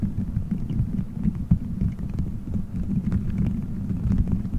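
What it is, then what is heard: Gummy bears squeezed on a microphone. Fingertips squeeze, rub and scratch colorful gelatin gummy bears stuck all over a solid dome-shaped microphone head. The result is a continuous, muffled low rumble and throbbing, dotted with faint soft clicks and squishes, holding a steady level throughout.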